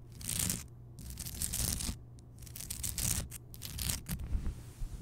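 Long painted nails scratch and tap the surface of a large, solid, glowing pink Himalayan rock salt lamp. Bright, dry scratching rasps come in uneven swells over a steady low hum, broken by quick, short taps that die away almost instantly.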